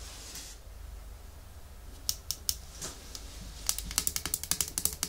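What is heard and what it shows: A small, full red Essie glass nail polish bottle with a white plastic cap, held in the hands, is tapped rapidly with long nails. A soft hiss opens the clip, then a few scattered sharp clicks give way to a quick run of bright, tightly spaced taps that die away almost instantly.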